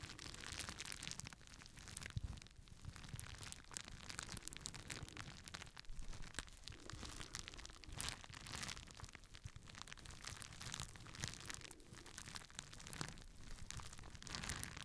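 Fingertips pop the bubbles on a clear plastic bubble wrap sheet and crinkle it, producing a dense, continuous stream of crackling and crinkling with sharp, quick pops scattered throughout. The sound is broadband, with bright crackle on top and a soft low rumble beneath, and each pop dies away almost instantly.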